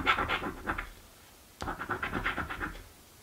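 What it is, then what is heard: Scratch-off lottery ticket being scraped. A coin held in the fingers scrapes the coated areas of a thin card scratch-off lottery ticket lying on a table. Quick, bright rasping strokes come in two bursts, separated by a short pause that ends with a sharp tick.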